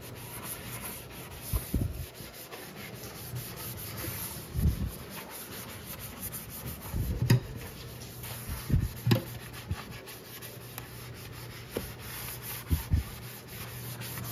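A hand scrubs the thin metal walls and bottom near the drain of an empty stainless steel kitchen sink basin covered in soap suds, using a yellow sponge in rubbing strokes. A steady, soft, low rubbing and swishing runs throughout, broken by several short, louder dull bumps as the sponge presses against the metal.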